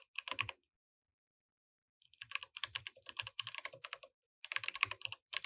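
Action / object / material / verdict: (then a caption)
tap / mechanical keyboard with plastic keycaps / plastic / none. A compact mechanical keyboard with beige and orange plastic keycaps, resting on a grey desk mat, is typed on with the fingertips of both hands while the mouse sits idle beside it. A short burst of keystrokes is followed by over a second of silence, then longer runs of rapid typing. Each keystroke is a dry, bright click with almost no ring, centered around 2.5 kHz with a light low thump underneath.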